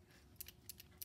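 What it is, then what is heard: Reversing-unit plunger moving freely. A Lionel #51 switcher's E-unit (reversing unit) is shaken up and down, producing several sharp, bright metallic clicks from its metal plunger against a low background hum. The clicking shows the plunger, previously sprayed with WD to free it, is moving freely and not hanging up, which is the desired result.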